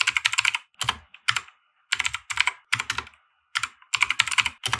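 A compact 60% mechanical keyboard with white plastic keycaps and RGB lighting, resting on a felt desk mat, is typed on with the fingertips of both hands. Quick bursts of crisp, bright plastic clicks centered around 2 kHz come in uneven runs, each keystroke dying away almost instantly, with short silent pauses between the flurries.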